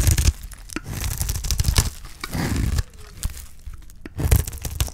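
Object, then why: Bar of soap cut with a knife blade. A utility knife blade scrapes across the face of a solid bar of dry green soap, carving off shavings. Dry, crumbly tearing and crackling strokes come in bursts with short quieter gaps between them, carrying a heavy low rumble under a bright gritty edge.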